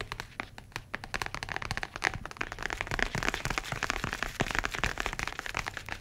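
A grey-brown leather tablet folio case is held close and tapped with the fingertips and nails, producing a dense run of short, dry clicks and soft crackling taps. The taps overlap too closely to count and have little ring, with a bright, crinkly edge over a light low thump.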